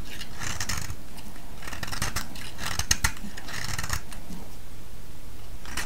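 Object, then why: Bar of soap shaved with a metal blade. A solid, round pale yellow soap, oval in shape and held in the hand, is scraped and shaved with a metal blade. Repeated bright, crisp rasping strokes run over a steady low rumble, with two sharper clicks near the middle as the blade cuts through the soap.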